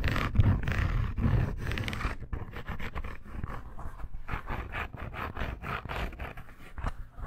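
A red embossed faux leather bracer, curled into a tube and held in the hand, is scratched with long nails. A dense, rumbling scrape fills the first two seconds, then gives way to quicker, uneven bursts of dry scratching. The sound is muffled and bass-heavy, with short strokes that stop abruptly.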